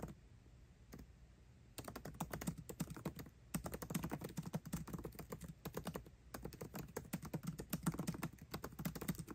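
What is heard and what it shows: Both hands type fast with their fingertips on a 13-inch aluminium MacBook Pro keyboard with backlit black plastic keycaps, tapping the keys continuously. After a quiet start with a single tap, dense runs of short, soft clicks with a low, dull thud follow, broken by brief pauses.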